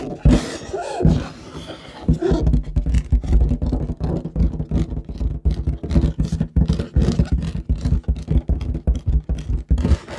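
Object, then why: Inflated latex balloon. An inflated light blue latex balloon, hollow and air-filled, is held in front of a microphone and tapped and scratched with long nails and fingertips. Quick, dense taps land as deep, hollow thumps, with scratchy rubbing sliding between them. The result is a steady, bassy, muffled drumming with little high end.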